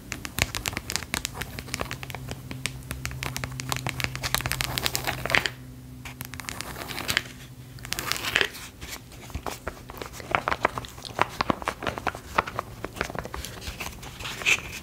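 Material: Wood.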